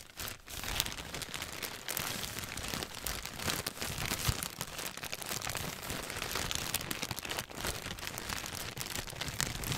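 A thin, clear plastic bag wrapped around a hand-sized white packaged item is held in both hands and crinkled and squeezed with the fingertips. The result is a dense, continuous bright crackling with many quick, sharp crinkles and some soft low rustle. After a brief lull at the very start, it stays fairly steady in loudness throughout.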